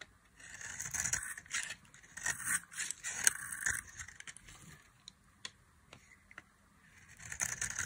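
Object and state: Dry bar soap being carved.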